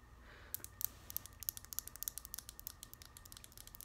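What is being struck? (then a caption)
Small glass nail polish bottle tapped with acrylic nails. Long grey acrylic nails tap a small lavender glass nail polish bottle with a black plastic cap, full of polish and held in one hand. After a quiet half second, about two dozen sharp, bright clicks follow in an uneven, quick rhythm like keyboard typing. Each click dies away instantly over a soft low rumble.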